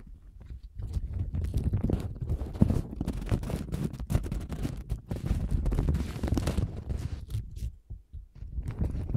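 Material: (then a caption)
Paper. A thin printed paper napkin with a lemon pattern is held in both hands while long gold nails scratch and crinkle it. The sound is a dense stream of close, soft, low crinkling and rustling with a few sharper crackles. It rises after the first second, stays busy, and briefly dips near the end.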